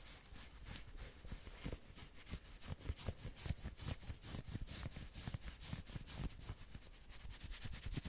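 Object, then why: Knit sweater sleeve. Fingertips scratch fast along the sleeves of a worn red and black patterned knit sweater. A steady run of quick, dry scratching strokes gives a bright, fuzzy hiss over soft low thumps. Each stroke stops short with no ring.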